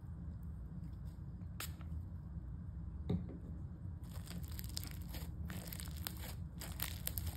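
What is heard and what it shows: A soft, solid mass of pale-yellow crunchy foam-bead slime is pressed and folded with fingertips, then pushed down with both hands on a table. Quiet, scattered crackles over a low rumble build after about four seconds into denser, brighter crunching and crackling, with a few sharper pops.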